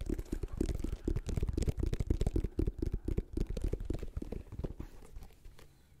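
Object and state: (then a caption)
Rubber sneaker sole. Fingertips and nails scratch and tap the white rubber outsole of a sneaker, working over its circular tread and ridged sidewall while it is held close to the mic. A rapid, uneven run of dull, low, bass-heavy taps and short scratchy rasps gradually fades quieter toward the end.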